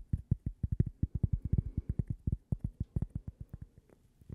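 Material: Cork.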